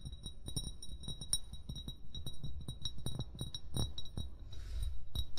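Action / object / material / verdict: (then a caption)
tap / amber glass bottle / glass / none. An upright, hollow amber glass wine bottle is tapped quickly with short fingernails and fingertips. Each tap gives a sharp, bright clink with a brief high ring over soft low thuds, and a short scratchy rustle comes near the end.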